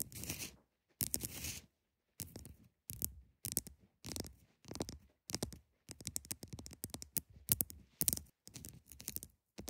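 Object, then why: Block of ice. Long nails scratch and tap the sides and top of a large solid block of ice. Short bursts of bright, rasping scratches and quick taps come in a steady run, with brief silences between them and a dull low body under each burst. The sound stays close, dry and quiet, with no ringing after each stroke.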